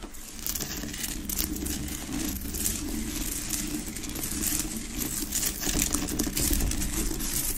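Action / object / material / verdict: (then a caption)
scrape / rock-salt lamp / rock salt / none. Long acrylic nails tap and scratch fast across the front of a large, unlit, solid Himalayan rock-salt lamp with a rough pinkish-orange crystal surface on a wooden base. The result is a dense, steady stream of bright, crackly scratches and quick ticking taps over a low, muffled rumble.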